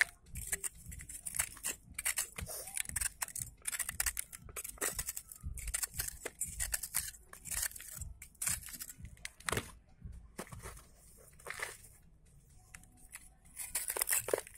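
A thick, solid, hand-held block of pressed red sand, molded into a heart shape, is dry-shaved with a yellow utility knife blade, scraping its crumbly surface over a bowl of sand. Quick, crunchy scrapes come in dense bursts of bright, gritty hiss with a light low thump beneath. A quieter stretch in the middle gives way to another flurry of strokes at the end.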